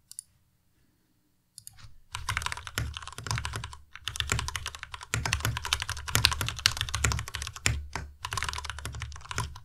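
Both hands type with their fingertips on a white Ducky Miya Pro tenkeyless mechanical keyboard with plastic keycaps and RGB backlight. After a near-silent start, dense bursts of quick, bright clacks with a low thump beneath them come in irregular runs, with short pauses between.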